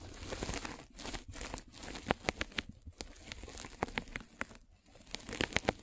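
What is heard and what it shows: A metal-spiked derma roller is rolled over a white polyethylene foam mesh net stretched over a microphone. It makes a steady, close crinkling rustle broken by a rapid series of sharp, bright crackles and pops, with brief quieter gaps between strokes.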